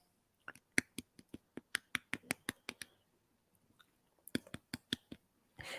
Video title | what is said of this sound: 🎉 Kitchen LIVE - Christmas Meringue Wreath 🎄☃️ | quite a dry tap on it